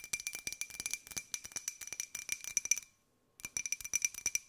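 Long nails tap rapidly on a small, hollow, empty white ceramic jar with a pink and gold pineapple print, tilted sideways. The taps are sharp, bright clinks with faint steady high ringing tones that die away almost instantly. The tapping runs quickly, stops briefly for about half a second, then picks up again.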